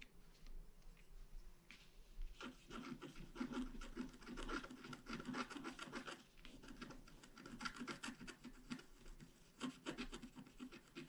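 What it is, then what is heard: Scratch art paper being scratched. A flat, black-coated scratch art card about A4 in size, held by one hand, is scratched with a wooden stylus held upright. Dense, dry scratching and rubbing strokes continue throughout, with bright, rasping bursts and a low, papery body.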